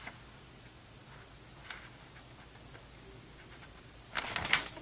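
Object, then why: Glossy paper magazine pages. Fingertips turn the thin pages of an open, glossy paper vintage Sports Illustrated magazine from November 2002, held flat, one after another. Faint, bright papery ticks and light crinkles sit over a quiet background, then a louder, high, airy rustle and swish comes near the end as a page is turned.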